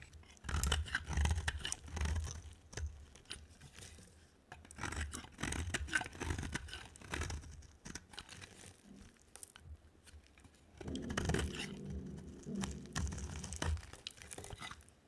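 A utility knife blade shaves a dry, solid green-and-white oval soap bar, and brittle curls break off as it scrapes. Repeated bursts of dry, crackly scraping are heard, with a heavy low-end rumble under brighter rasping detail. Short quiet pauses separate the strokes.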